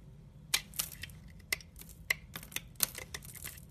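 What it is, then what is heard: Amber glycerin soap bar being scraped. A utility-knife blade scrapes and cuts crumbly shavings from a solid, translucent amber glycerin soap bar with a dry surface, held in the hand. It makes a series of sharp, irregular crisp scraping clicks that are bright and dry with almost no ring, over a quiet background.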